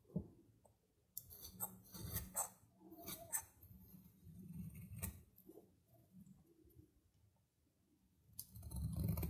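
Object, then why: Soap bar scraped with a metal knife. A metal knife scrapes thin curling shavings off a narrow stick of solid dry soap with a red outer layer, held in the fingers. The scraping comes as crisp, dry, uneven strokes with bright, crackly edges over a soft low rumble. A quiet pause follows before a louder scraping run at the end.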